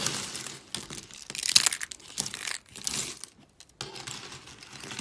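Fingers with long pink nails snap and crush a pile of thin, pastel dry soap shards on a white surface. Bright, crisp crunches and crinkling crackles come in dense bursts with almost no low end. Short quiet gaps fall between the bursts.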